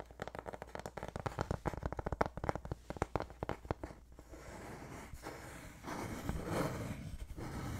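A thin, solid, flat, light-colored wooden board with rounded corners is held close to the mic and tapped and scratched with fingertips and nails. For about four seconds, a rapid run of short, dry, knocking taps is heard. These give way to a steady, close, rough scratching and rubbing that swells louder near the end.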